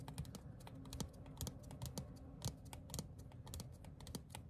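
Fingertips and short nails tap rapidly on a small, thin printed paper/cardstock ticket card. Soft, low thuds are dotted with bright, crisp clicks that die away almost instantly, in a quick, uneven rhythm.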